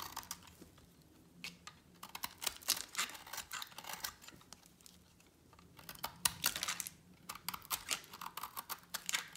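A utility knife blade shaves along the edge of a solid, partly carved green bar of dry soap. Quick, dry scraping and cutting strokes come in bursts of crisp, bright crackles and clicks, with a short pause in the middle before the shaving picks up again.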